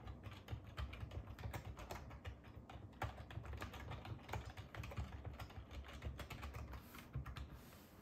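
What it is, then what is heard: Plastic computer keyboard being typed on. A black ergonomic plastic computer keyboard on a wooden table is typed on with fingertips and short nails. A steady run of quick, soft key taps and clicks carries a low, thuddy body and dies away almost instantly after each press.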